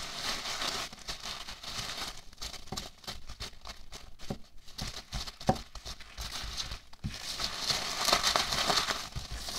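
Both hands with medium-length fingernails rub and scratch across a pile of small white expanded-polystyrene packing peanuts resting on a white table. The result is a dense, bright, irregular crinkling and squeaky scratching with quick, dry crunches, one sharper crunch just past the middle, and busier, louder rubbing toward the end.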